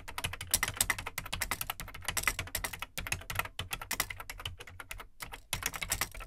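Fingertips type on the plastic keycaps of an Amstrad CPC 464 home computer, its large hollow black plastic case beneath them. The result is a rapid, uneven stream of short, bright plastic clicks and clacks with a soft low thump under each stroke, broken by brief pauses near 3 and 5 seconds before the typing picks up again.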